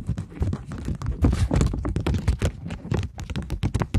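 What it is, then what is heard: Polymer banknote tapped and scratched. A polymer plastic £20 note is held flat, then flexed, while long nails tap and scratch across it. Quick, irregular taps and crackly scratches come in a dense stream, each dying away almost at once, with a dull, low-heavy body and bright crackle on the sharper strokes.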